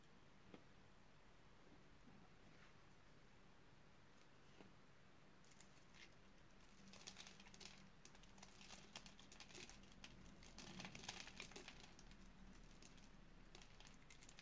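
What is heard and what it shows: A solid purple oval bar of dry soap with a pre-scored grid is held in one hand while a utility knife blade cuts and scrapes small crunchy cubes off it. Soft, dry crackling and scraping ticks come in quick, uneven bursts over a low hum. The crunching grows denser and brighter in the second half as the cubes break away.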